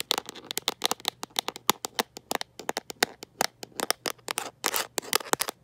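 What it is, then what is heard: Plastic phone case. Long nails fitted with metal paperclips tap and scratch a smartphone in a mint-green rubber and plastic protective case held in one hand. Rapid, irregular, dry clicks with bright, crisp tops and no ring are broken by short scratchy bursts, about 35 sharp hits over the clip.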